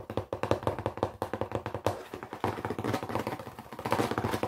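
A small, hollow, closed brown cardboard box is held in both hands and tapped fast with the fingertips and nails on its flat top and sides. About 32 quick, dry, papery knocks come in a steady rapid patter, each with a hollow mid-range thump around 566 Hz and almost no ring.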